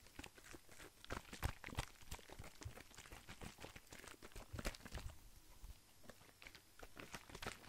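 A hollow, hand-sized blue plastic skincare bottle with a white cap is held in one hand, tapped and handled by fingertips, and moved beside the microphone. It makes a quick, irregular stream of short, dry taps and crinkly scratching, with dull low thumps under bright clicks that stop almost at once.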